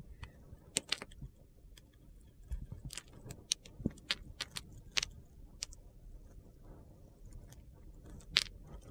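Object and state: Bar soap being cut.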